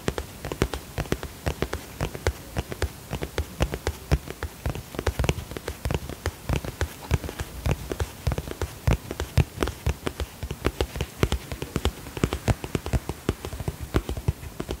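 Fingertips and nails tap rapidly across the shiny surface of a holographic polka-dot cosmetic pouch made of plastic/vinyl, held in both hands. The taps are short and dry with almost no ring, weighted toward soft low thuds with faint bright clicks. They form a steady, irregular patter like rain on a surface.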